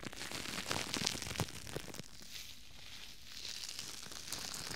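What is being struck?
Thin plastic bag.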